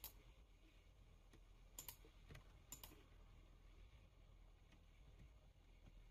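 Fingertips type on a full-size black plastic computer keyboard, producing sparse, sharp, bright key clicks with short, dry decays. A steady low rumble sits underneath the taps throughout.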